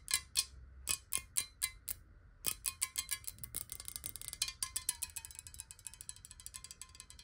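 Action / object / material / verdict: tap / glass bottle with water / glass / none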